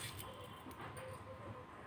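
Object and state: Nothing is struck.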